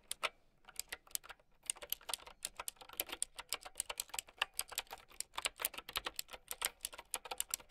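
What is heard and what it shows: Fast typing with long painted nails and fingertips on a mint typewriter-style mechanical keyboard with round white plastic keycaps. The result is a rapid, uneven stream of bright, sharp clicks and clacks with almost no low end. Each keystroke dies away instantly.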